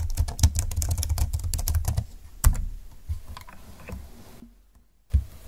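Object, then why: Plastic scissor-key keyboard. Two hands type with fingertips on a full-size plastic scissor-key keyboard with a silver plastic frame, dark flat keys and a hollow plastic body. A rapid, dense run of soft, low, clattering key taps fills the first two seconds, then thins to scattered quieter presses with one sharper tap. After a near-silent pause, a single final keystroke lands.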